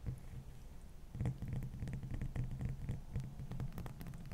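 A large, solid, dome-shaped block of clear frozen ice rests on a towel and is tapped and scratched by long manicured fingernails. Quick, irregular clicks and scrapes ring out over a low, steady hum, with energy concentrated around 100 Hz and bright flecks above.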